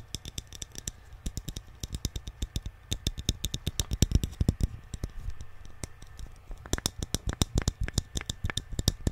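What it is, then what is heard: Painted wooden nesting doll. Fingertips and nails tap quickly over a small, hollow, painted wooden Alice in Wonderland nesting doll held in both hands. The result is dozens of dry, clicky taps, each with a low hollow knock and a very short, crisp decay. The taps come in uneven, rapid bursts, much like typing.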